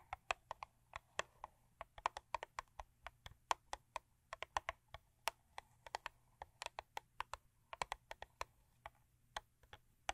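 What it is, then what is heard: Cardboard box tapped with nails. A thin printed-cardboard Crest toothpaste box, contents not visible, lies flat on a fur rug and is tapped and scratched with long acrylic nails. About 46 quick, dry, clicky taps sound at an uneven pace, each dying away almost instantly. They have a hollow papery midrange body and a bright, crisp edge, all at a quiet level.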